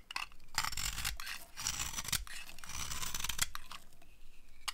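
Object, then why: Soap bar scraped with a metal blade. A metal blade scrapes and carves shavings off a dry, solid white cream soap bar held in the hand. Dry, crunchy scraping strokes come in bursts of bright, gritty texture with short pauses, and sharp clicks occasionally stand out.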